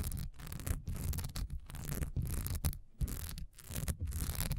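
Long nails scratch fast across a solid cream wax pillar candle with a honeycomb, diamond-textured surface, standing upright. The result is bursts of dry, gritty rasping with a bright hiss over a heavy low rumble, broken by brief gaps between strokes.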